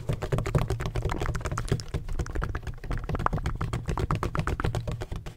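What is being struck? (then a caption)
Hollow textured hard plastic ring-shaped bottle. Fingertips tap rapidly on a large, hollow, black donut-shaped bottle with a red cap and a textured hard plastic surface. The result is a dense, continuous flurry of short, dry clicks with a hollow, low-heavy body, and each tap dies away almost instantly.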